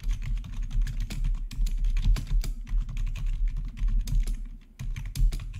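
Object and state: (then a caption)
Plastic gaming keyboard being typed on. Fingertips type rapidly on a black plastic RGB backlit gaming keyboard with a hollow housing. The keys give a fast stream of short clacks, dense and mostly low with bright clicky edges, with one brief pause near the end before the typing resumes.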